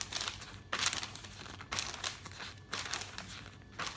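Fingers with nails pinch, rub and turn the thin pages of an open glossy paper catalog, making bright, dry crinkling and rustling. Four louder bursts, each at a page turn, stand out over steady softer rubbing.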